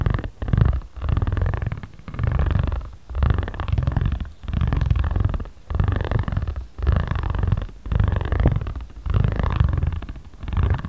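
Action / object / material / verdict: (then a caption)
scrape / ridged roller on a paper origami pad / paper / none. A ridged spiral roller is rolled back and forth over a flat patterned origami paper pad. Each stroke makes a low, steady, purr-like rumble, with brief quiet gaps between passes.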